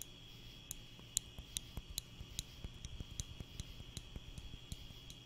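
A small wooden spring clothespin, held in the fingers close to the mic, is snapped open and shut, giving about eleven short, bright, dry clicks spread unevenly over five seconds. A steady high tone and a faint low rumble sit underneath the whole clip.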